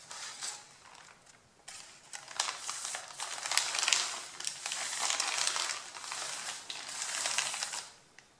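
Fingertips rub and crush the top sheet of a stack of A4 printed printer paper, producing bright, dry crinkling and crackling in uneven bursts. The rustle swells and fades in waves with almost no low end, then ends in a brief quiet crackle.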